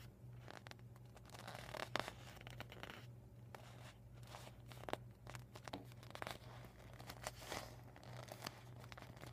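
Fingertips with medium painted nails tap and scratch a deflated vinyl beach ball rolled into a tube on a dark table. The quiet, crinkly plastic scratches and soft taps come in quick, irregular bursts with bright edges over a steady low hum.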